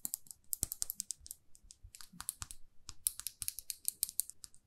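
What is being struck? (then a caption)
Lacquered lipstick tube. A small, glossy red lacquered lipstick tube with a silver band is held in one hand and tapped and scratched with long fingernails. The result is a quiet, rapid, irregular run of around thirty crisp, bright clicks with soft scratchy brushes in between, each tap dying away almost instantly.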